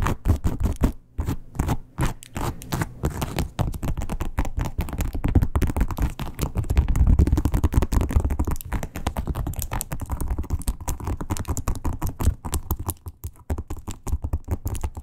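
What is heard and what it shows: Long pointed nails scratch and scrape over the embossed surface of a flat red crocodile-textured leather wallet. The result is a dense, rapid run of short, dry scraping strokes that is mostly low and muffled, with little brightness. It holds a steady level for the whole stretch with only brief pauses.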